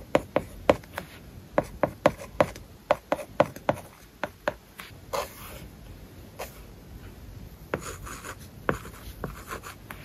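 A plastic stylus writes on an iPad covered with a matte, paper-like plastic film. It makes a quick series of short, dry taps with a tone around 530 Hz, mixed with soft, bright scratching strokes. Louder bursts of continuous scratching come in the second half.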